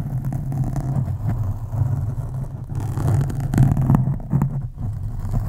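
Long acrylic nails of both hands scratch across a black foam windscreen on a microphone, making a dense, low, rumbling scrape with almost nothing in the highs. The texture stays steady, swelling and dipping slightly in loudness as the nails keep moving.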